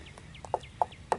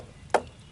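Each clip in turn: First: solid section of old wooden utility pole. Second: hollow, cracked top of an old wooden utility pole.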